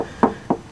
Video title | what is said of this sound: 1995 Subaru Legacy - one year follow-up on rust hole repair | and as I move further down I'm actually tapping on the fiberglass coated in Miracle Paint and you can hear how rock hard that is